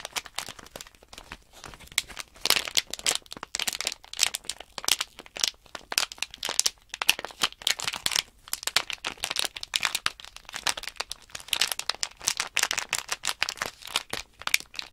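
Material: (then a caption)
Plastic film. A small sealed plastic Nanoblock package bag holding loose plastic blocks is held in both hands while fingertips crinkle and flex the film. The result is dense, bright, crackling crinkles with the small blocks rattling inside, coming in uneven bursts throughout.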